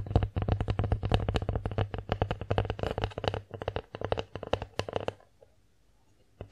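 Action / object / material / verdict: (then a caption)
tap / bear-shaped wooden plate / wood / none. Long nails rapidly tap and scratch the face and edges of a bear-shaped wooden plate held and tilted in the hands, making dry, quick, irregular clicks over a low steady hum for about five seconds. The tapping then stops, leaving near silence until one last tap at the very end.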